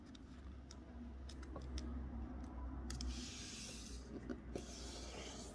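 Fingertips press and rub along the fold of a thin strip of pink Christmas wrapping paper with a snowman print, lying flat on a white table, to crease it. Soft, papery rubbing and faint crinkles are heard, with a few brief bright ticks over a steady low hum.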